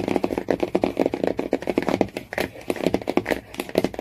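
Fingernails tap quickly on the laminated cardboard cover of a hardcover Jungle Book. The result is a fast, steady stream of short, dry, hollow clicks with a mid-range body and almost no ring. Faint scratchy texture sits between the taps.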